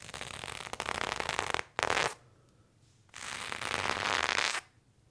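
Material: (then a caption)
Denim. A serrated knife blade drags and scratches along worn blue cotton denim jeans on the thigh in repeated strokes. Each stroke gives a dry, bright, gritty rasp, and the strokes are separated by quiet pauses.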